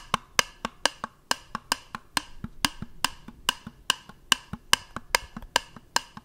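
A small, hollow, round white plastic jar is held up close to the microphone and tapped with fingertips, producing a quick series of dry, bright, clicky taps with a hollow knock around 1.7 kHz. The taps come at a fairly quick, somewhat uneven pace, with almost no ring between them.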